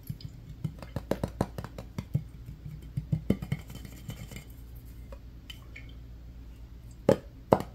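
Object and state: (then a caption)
Glass mason jar. Fingertips and nails rapidly tap and scratch a medium-size, apparently empty clear glass mason jar and its metal screw lid, making a fast flurry of short, dry clinks over a steady low hum. The tapping thins into quieter scratching midway, then two louder, brighter clinks ring out near the end.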